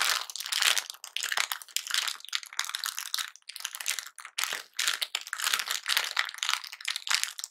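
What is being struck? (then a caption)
Thin plastic bag of wrapped mints. A medium Fox's Glacier Mints bag of thin plastic film, full of wrapped mints, is held in both hands, squeezed and crinkled with the fingertips, then turned over by the end. Dense, bright crinkling and crunching comes in overlapping bursts with brief quiet gaps, almost no low end, and no ring after each crackle.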